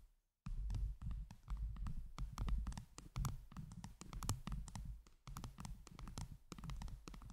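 Long jeweled nails on both hands rapidly tap and scratch a round microphone head covered in blue acrylic heart gems. After a brief silent start, a dense stream of crisp clicks and scrapes sits over a heavy low thumping rumble, each hit dying away quickly.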